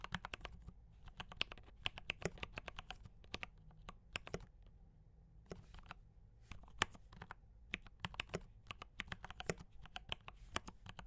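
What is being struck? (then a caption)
Mechanical keyboard with plastic keycaps. Fingertips type on a D84 mechanical keyboard with brown switches and cream and red plastic keycaps. Quick, dry, bright clicks and clacks come in uneven bursts with short pauses, each keystroke dying away almost instantly over a low steady hum.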